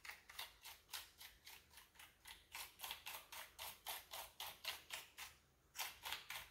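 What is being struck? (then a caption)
Plastic computer keyboard. A wooden-handled bristle brush sweeps between the keycaps of a full-size, hollow-bodied black plastic computer keyboard. It makes 25 rapid, evenly spaced bright scratchy swishes with a brief pause near the end. Each swish is short and airy, with almost no low end.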